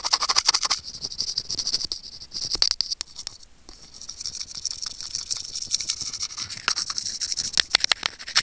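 Curved steel tweezer tips rapidly scratch and tap the small, hollow white plastic inline remote and microphone of a pair of wired earphones. The result is a dense stream of bright, crackly scrapes and sharp clicks that sit almost entirely in the high range with very little low end, easing briefly about midway through.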